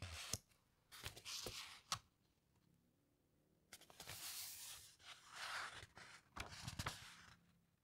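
Fingertips with long nails slide along the thick, glossy, heavyweight paper pages of a large hardcover coffee table book lying open on a carpet, guiding each page as it turns. Quiet, bright papery rubbing and swishing sweeps come in two bursts separated by a near-silent pause, punctuated by a few sharp ticks as the nails catch the paper.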